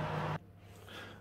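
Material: Nothing is struck.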